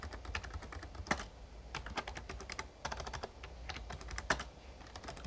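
Fingertips type steadily on the keys of a full-size, backlit plastic Razer Ornata Chroma mecha-membrane gaming keyboard for about five seconds. The result is a quick run of short, crisp clicks and soft clacks, with occasional louder key strikes. A steady low hum sits underneath.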